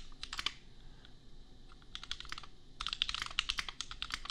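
Fingertips of both hands type on a compact custom mechanical keyboard, priced at $250, with Gateron Milky Yellow switches and red/pink plastic keycaps. Bursts of quick, bright plastic clacks come in three runs separated by short quiet gaps, the last run the densest. Each keystroke is sharp and dies away almost instantly over a faint low background hum.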